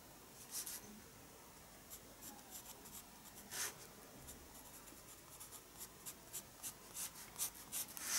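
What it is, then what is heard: Pencil on sketchbook paper. A pencil scratches lines onto the paper page of a spiral-bound sketchbook resting on a desk. Quiet, bright, dry scratching strokes come in short bursts across the clip, with little low end.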